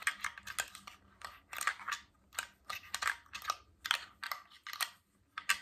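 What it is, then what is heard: Glass water bottle. A tall, clear glass water bottle with a stainless steel cap, mostly empty with droplets inside, is held in both hands and tapped and scratched with fingernails and rings. Bright, sharp clicks and brief scratchy bursts come in quick irregular clusters with almost no ring afterward, over a faint low hum.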